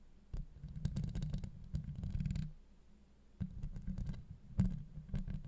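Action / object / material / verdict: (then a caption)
scrape / steel mesh microphone grille / steel mesh / none. Long acrylic nails on both hands scratch the top of a hollow steel mesh microphone grille. The result is a dense, low, rumbling scratching with faint bright ticks, in two busy bursts separated by a brief quiet gap.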